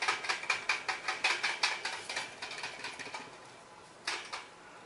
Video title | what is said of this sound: Teaser til nyt system der skal bygges | Det er altså tegn på, at der er et eller andet heri, der ikke sidder helt hundrede procent fast